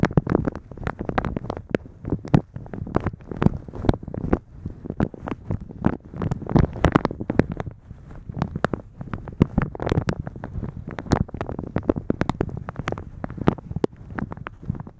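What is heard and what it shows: Fingertips and nails pinch, rub and scratch the gathered top of a thin translucent polka-dot plastic shower cap stretched over a microphone. The result is a dense, continuous stream of close crinkling and crackling, heavy in the low end, with short sharp ticks that flick up into the high range and die away instantly.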